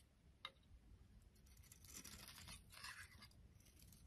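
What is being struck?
Soap bar shaved with a blade.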